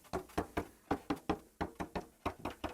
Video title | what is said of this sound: Entoilage Oracover – Les Tutos d’Alain – Épisode 1 | On sent que ça sonne